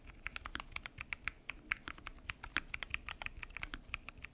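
Fingertips type continuously on a full-size mechanical keyboard with lubed switches, pink and mint PBT keycaps, and a transparent acrylic case. About 29 short, crisp keystrokes sound in a quick, uneven rhythm, each a bright clack centered near 2 kHz that dies away almost instantly.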